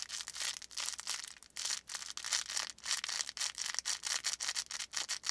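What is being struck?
Stuffed felt plush toy with faux fur top and crinkly filling.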